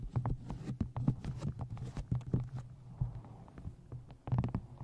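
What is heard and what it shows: A paperback book is held upright while fingertips and long nails tap along the top edge of its card cover and paper pages. The result is a quick, uneven run of short, dull, low taps with crisp clicking edges and no ring, pausing briefly before a final cluster of louder taps.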